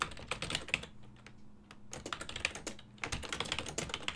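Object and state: Plastic computer keyboard.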